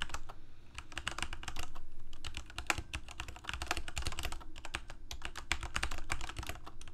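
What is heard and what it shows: Fingertips of both hands type on a backlit Corsair K68 full-size mechanical keyboard with plastic keycaps and Cherry MX Red switches, resting on a desk. Quick, irregular bursts of sharp, bright clacks overlap in a fast stream, each dying away almost instantly over a steady low hum.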